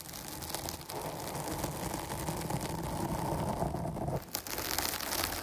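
Long nails scratch fast over the sides and top of a dark foam microphone windscreen, making a dense, continuous crackling and rustling with a full low end and bright hiss. The scratching briefly drops out near the end, then starts again just as steadily.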